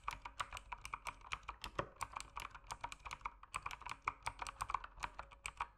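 Fingertips type steadily on a mechanical keyboard with plastic keycaps while its backlight dims. There are 36 short, sharp key clicks, each with a clear ~1 kHz body and bright high ticks, decaying almost instantly between strokes.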